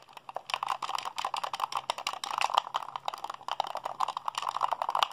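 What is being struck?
Plastic game controller.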